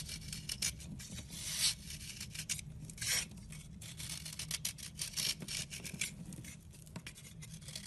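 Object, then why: Round bar of soap scraped with a knife blade. A knife blade scrapes and rubs a round, chalky white soap bar held in a hand with red nails. Quick, bright, dry scraping strokes come in an uneven stream, with a few louder rasps standing out over a faint, steady low hum.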